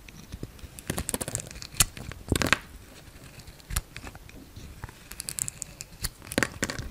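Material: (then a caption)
Soap. A hand-sized, solid gold-coloured Palmolive bar soap with a pink inside is shaved into thin slices with a utility-knife blade. Dry, crisp scraping and crackling cuts come in irregular bursts, some sharper and louder than others, with bright, brittle edges over a quiet background.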